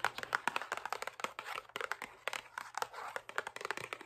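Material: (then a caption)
Cardboard. A closed, medium printed cardboard Oreo cookie box, likely full of cookies, is held up in one hand and tapped and scratched on its faces and sides with long acrylic nails. Dense, rapid, dry clicking taps mix with crinkly scratching across about four seconds, sitting mostly in the mid and upper frequencies with no low end.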